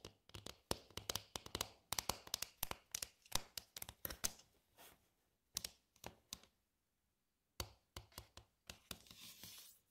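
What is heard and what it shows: Long nails and fingertips tap on the floors and dividers of a glossy, medium-sized, hollow and empty red plastic divided tray. Quick bright, dry clicks and knocks come in rapid clusters, each dying almost instantly. A brief silence near the middle is followed by more taps and a softer, scratchy rustle at the end.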